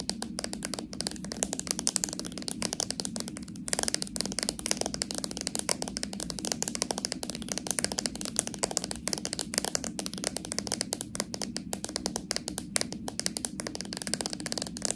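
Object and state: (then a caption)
Plastic slime jar tapped and scratched with nails. Long nails rapidly tap and scratch the labelled plastic body of a small, full plastic slime jar with a metal lid. The result is a dense, steady stream of quick, dry, bright clicks and scratchy rasps that die away instantly, continuing without pause for the whole clip.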